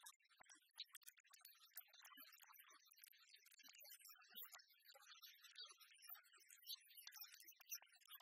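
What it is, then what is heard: Miniature glass sauce bottle. A tiny, apparently full Tabasco glass bottle with a green cap and paper label, held in the fingers, is tapped and scratched with long fingernails. Quick, dense, bright clicks and scratchy rasps sit almost entirely above 1 kHz, with no low end and very little ring.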